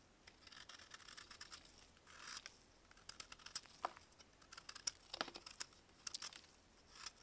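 A small, solid block of dried baking soda, held in a gloved hand, is carved with a metal blade. The result is a quiet, bright, crumbly scraping broken by many short, sharp ticks and brief gritty rasps, with almost no low end.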